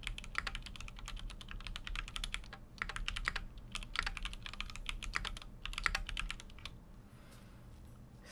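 Fingertips type continuously on a full-size Keychron Q6 mechanical keyboard with an aluminum case and plastic keycaps. Rapid, sharp, bright clacks come in bursts separated by brief pauses over a steady low hum. The typing stops at about seven seconds, leaving a quiet hiss before one faint tap at the very end.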